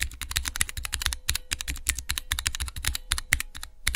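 Fingertips type fast on a small hollow plastic switch tester with clear plastic keycaps over Cherry MX mechanical keyboard switches. A rapid, uneven stream of crisp, bright clacks comes through, each with a soft low thud underneath. Every keystroke dies away almost instantly.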